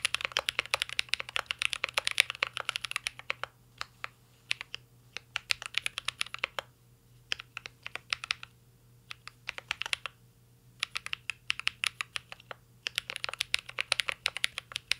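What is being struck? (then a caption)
Mechanical keyboard with plastic keycaps and aluminium case. Fingertips type on a mint-green Cyberboard R3 mechanical keyboard with plastic keycaps and an aluminum case, producing rapid, bright, sharp clacks that stop almost instantly. The typing comes in dense bursts broken by short pauses where only scattered single keystrokes sound, over a faint low steady hum.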